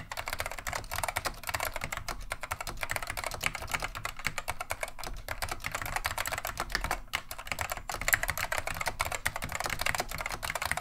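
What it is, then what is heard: Plastic mechanical keyboard being typed on. Both hands type continuously with the fingertips on a beige plastic vintage Wang 725 mechanical keyboard fitted with Alps SKCM Neon Green/Lime switches. A rapid, steady stream of sharp, bright, clacky keystrokes decays almost instantly over a faint, steady low rumble.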